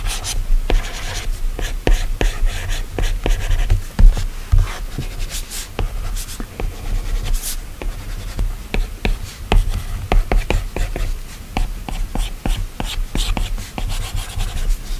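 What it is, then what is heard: Stylus on a glass tablet screen. A plastic Apple Pencil stylus tip taps and scratches across the large, flat, solid glass touchscreen of an iPad while drawing. The clip is a steady run of short, sharp ticks with soft scraping strokes between them, over a dull low-heavy body and very little ring.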